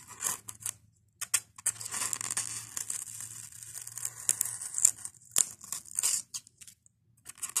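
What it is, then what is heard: Polystyrene foam block being scratched. A fingernail scratches at a white expanded polystyrene foam block with a loose, beaded corner and pries beads off the foam. This makes bright, dry scratching and crackly squeaks in irregular bursts, separated by short silences and a faint low hum underneath.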